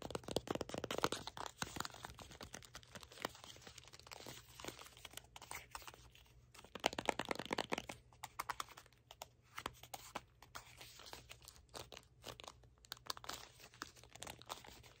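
A small red cardboard box with a white panel is held in both hands while fingertips and nails grip, tap and scratch it. Dense crinkling, crunching clicks come in louder bursts near the start and again around seven seconds, then thin out into quieter scattered taps and scratches. The sound is dry and short, with no ring after each click.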